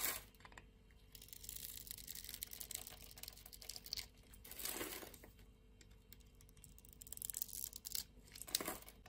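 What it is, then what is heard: Bar of soap being cut. A solid blue and white striped soap bar, held on the palm of a hand with long nails, is scored and cut with a metal box-cutter blade. The sound is soft, bright, crisp scraping and crackling, with fuller, louder slicing swells near the middle and again near the end.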